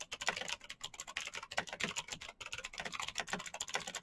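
Fingertips of both hands type rapidly on a black plastic mechanical keyboard with clicky green switches and backlit keys. A dense, steady run of sharp, bright clicks sounds, each dry and quickly decaying with almost no low end.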